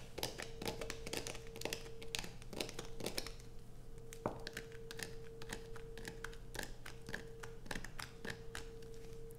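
Long nails scratch grooves into the surface of a solid light-blue bar of soap held in the hand, with shavings falling onto black fabric. The result is a dense run of crisp, bright scraping bursts and short taps over a steady low hum and a faint sustained mid tone.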